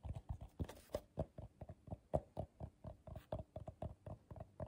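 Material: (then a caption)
Paper. Fingertips and short nails tap on the bottom and outer wall of a medium, hollow, empty bowl of coiled colorful paper held in the hands. About 23 short, dull taps come in an irregular rhythm, each a soft low thump with a faint mid-range knock around 630 Hz. Every tap dies away almost instantly, with no ring.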